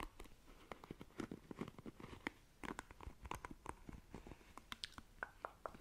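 Long nails quickly scratch and flick the bristles of a black plastic paddle hairbrush. The result is a quiet, rapid, uneven run of short, dry plastic clicks and scratchy ticks, with bright snaps over a soft rustling bed.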